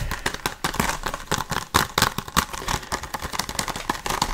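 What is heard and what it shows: Fingertips and nails tap fast and hard on the surface of a hollow, handheld blue plastic Blu-ray case held close to the microphone. The result is a rapid, uneven stream of sharp, dry plastic clicks and knocks, with a hollow tone around 1 kHz and bright crackly edges that die away almost instantly.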